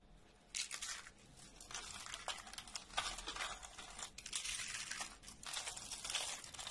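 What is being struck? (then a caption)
Rolled curls of bar soap. Thin rolled curls of dry, brittle orange bar soap are squeezed and crumbled in a bare hand over a pile of soap flakes. Dense, bright crackling and crunching comes in bursts, with sharp snaps between quiet pauses.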